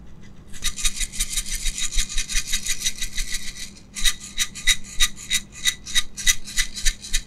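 A small clear jar, probably plastic, with a knob lid and filled with small pink beads is shaken and tilted in gloved hands. The beads rattle and roll inside with a bright, gritty hiss that runs steadily for about three seconds. After a short pause it continues as a quicker series of rhythmic rattling bursts over a faint low hum.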